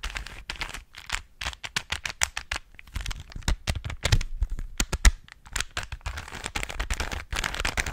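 A small hollow plastic 3x3 Rubik's cube is held in both hands while fingertips and nails twist its layers. The result is a quick, irregular run of sharp, dry clicks and clacks with bright edges and soft low thuds underneath. Each click cuts off almost at once.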